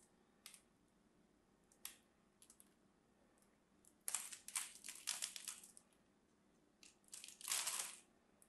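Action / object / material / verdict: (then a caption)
scrape / scored bar of soap / soap / none. A solid lavender and white striped bar of soap is held in the hand while scored cubes are cut off it with a craft knife and fingernails. Scattered sharp crunches give way to bursts of dense, bright, crumbling crackle, which fade to near silence between them.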